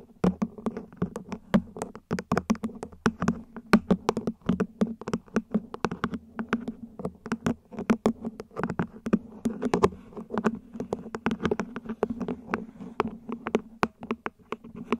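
Long nails tap rapidly on the base and ribbed sides of a small, hollow, mint-green ribbed plant pot, probably plastic, set upside down over a fluffy mic cover. The taps are dry, hollow clicks with very short decay, over a low steady tone around 220 Hz.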